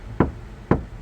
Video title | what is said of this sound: 카오디오 튜닝. 재료 고유 주파수 특징, 스피커 인클로저 튜닝, 스포티지 nq5 패리 카오디오 작업 2-5 Car audio tuning Material Frequency | 이 본드가 어, 다 접착이 되면 어, 마르면 소리가 달라집니다